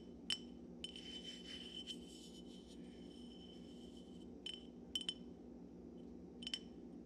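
A hollow, dark glass Syrah wine bottle, held in both hands above a pile of corks on a wooden table, is tapped with fingertips and nails. Quiet, sharp clicks each give a brief glassy ping near 3 kHz. A soft, bright rubbing texture runs between the early taps.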